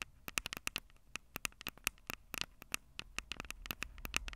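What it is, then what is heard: Fingernails tapping metal mesh microphone capsules. Long purple acrylic nails tap and scratch the two small crossed metal mesh microphone capsules on the hollow plastic body of a Tascam DR-05 handheld recorder. About 25 sharp, dry clicks sound in an uneven patter with very short decay, bright and high with a tinny tone near 2.6 kHz. Faint scratchy rustle fills the gaps between taps.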